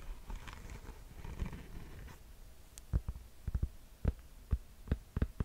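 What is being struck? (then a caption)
Fabric mesh sneaker. Fingernails scratch the mint mesh upper and heel of a Nike sneaker held close, making a soft, rustling scratch for the first two seconds. This is followed by a series of short, dull, low thumps with almost no ring.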